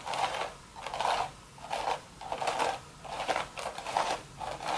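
Long red nails scratch back and forth across the weave of a hollow, empty woven straw hat crown. There are about seven dry, raspy scratching strokes in a steady rhythm, each centred on a midrange rustle with bright hiss above and almost no low end. Short quiet gaps separate the strokes.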